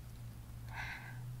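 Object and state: Nothing is struck.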